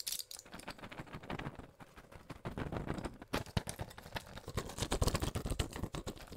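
A small pill blister pack with plastic bubbles and an aluminium foil back, holding white pills, is pressed and crinkled by fingers with long pink nails. A dense stream of quick crackling clicks and crinkles, with bright high crackle over a low thumping body.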